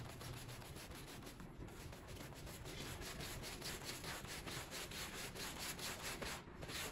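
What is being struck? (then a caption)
Small wet pile rug scrubbed with a stiff push broom. A green push broom on a long handle scrubs a small, wet, foamy, bear-shaped pile rug. Steady, rhythmic back-and-forth strokes make a bristly, hissing rub with a low rumble underneath, at a fairly even level throughout.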